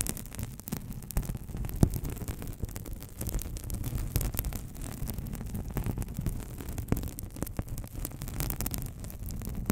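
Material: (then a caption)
Paper. Long nails scratch and crinkle the surface of a thin, hand-sized white paper sheet held with both hands close to a microphone. The result is a steady, dense rustling and scratching, heavy in the low end, dotted with brief sharp ticks and crackles.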